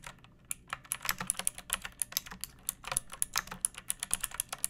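Fingertips with long painted nails type on a pink plastic mechanical keyboard with round keycaps and a hollow case, resting on a wooden surface. A quick, uneven run of sharp, bright plastic clacks follows, each key strike dying away almost instantly over a faint low thump from the hollow case.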